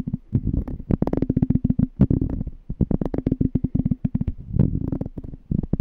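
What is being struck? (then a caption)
Small glass jar. A small, clear, empty glass jar is held on its side while fingertips tap and scratch its glass bottom and threaded rim. The result is a rapid, uneven string of dull, low, thudding taps centered around 170 Hz, with faint scratchy texture between them and almost no ringing after each touch.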